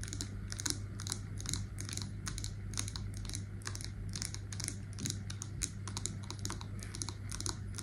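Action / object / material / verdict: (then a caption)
tap / wax-filled glass candle jar with metal lid / glass / none. Long nails tap rapidly and continuously on a wax-filled glass candle jar with a label and a silver metal lid, striking both the glass and the lid. Each tap is a short, bright click that dies away almost at once, over a steady low hum.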